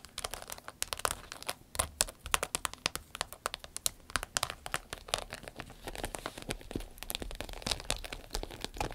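Long nails tap and scratch a medium, hollow, empty green-yellow striped glossy vinyl zip pouch. The result is a dense, irregular stream of quick, crisp, crinkly clicks and scrapes that are bright and dry, with almost no ring after each hit.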